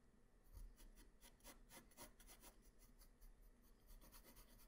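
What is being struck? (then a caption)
Graphite pencil on paper sheet. A hand-held graphite pencil draws strokes across a flat white paper sheet. Quiet, repeated scratching and rubbing rises and falls in short bright bursts over a soft low rumble.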